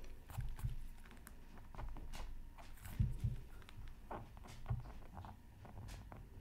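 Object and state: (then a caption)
Scratch art paper being scratched. A hand scratches lines into a flat, black-coated scratch art card about 20 cm square, resting on a mat and partly covered by a sheet of tracing paper, using a pointed bamboo stylus. Quiet, dry scratching strokes come with soft low thumps and brief bright streaks, with a few heavier taps near the middle.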